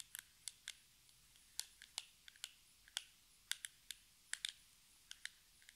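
A small, hollow, metallic-pink cardboard cosmetic box is tapped with long red nails. About 17 sharp, dry, bright clicks come at an irregular, unhurried pace. Each click dies away almost instantly over a faint, quiet background.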